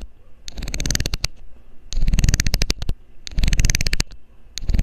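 A loose, hollow blue plastic screw cap is held in the fingers over the mic while a metal needle scrapes along its ridged edge. Four bursts of rapid, bright ticking clicks ride over a heavy low rumble, with short quiet gaps between them.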